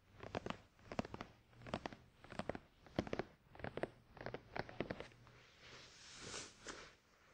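Fingertips of both hands tap and scratch a closed, hollow, glossy black printed cardboard product box for a Tascam DR-100 mkII resting on a towel. Quick clusters of soft, dry, hollow taps come in uneven bursts. Near the end they give way to a quieter, bright brushing scratch across the surface.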